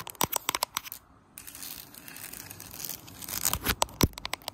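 Fingertips and nails tap and scratch across the slats of a large, solid, flat bamboo mat on the floor, with the camera sitting low on the mat. Quick, sharp, bright clicky taps give way to a brief pause, then a steady raspy scratching. The clip ends in another burst of crisp taps, including one louder knock near the end.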